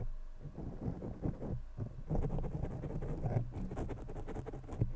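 Fingertips of both hands continuously rub, scratch and tap a black foam windscreen covering the top of a large blue condenser microphone. The result is a dense, muffled, low-heavy patter of soft scratches and dull thumps, with short taps that die away almost instantly and no bright edge.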